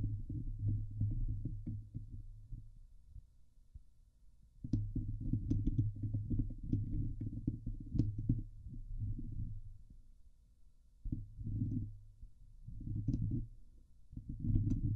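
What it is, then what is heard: Metal mesh microphone grille being scratched. Long nails scratch the hollow steel mesh grille of a Blue Yeti microphone, producing dense, low rumbling scrapes in bursts with faint bright ticks. The scratching eases off twice into quieter stretches before resuming, and near the end one hand lifts away from the grille.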